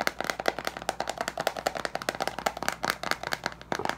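Fingertips and nails tap and scratch quickly on the teal plastic screw lid of a large glass jar with leaves inside. About 23 rapid, dry, clicky taps sound with very short decay, centered in the mid range around 700 Hz with bright edges and almost no low end.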